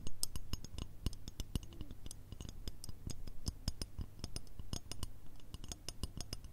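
A long, curved, shiny gold/chrome metal shoehorn, a thin solid strip held in both hands, is tapped and scratched with long red nails. It gives a quick, irregular run of sharp, bright metallic clicks and ticks with short scratchy bits between them. A steady low hum runs underneath throughout.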